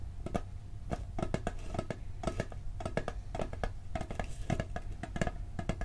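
A round blue and gold hollow metal cookie tin, held in both hands, is tapped on the lid with fingertips and nails in a quick, uneven run of taps. Each tap is a short, dry knock with a low hollow body and a faint metallic ring that dies away almost at once.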